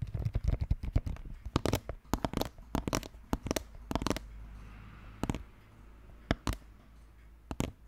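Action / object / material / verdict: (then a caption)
tap / hollow plastic skull-shaped container with plastic brain-shaped lid / plastic / none. Both hands tap rapidly with fingertips and nails on the green plastic brain-shaped lid of a large, hollow, red plastic skull-shaped container. The result is a quick, irregular run of short, hollow, low thuds with bright clicky edges. The tapping is dense at first, then turns sparse after a brief quiet stretch, with isolated taps near the end.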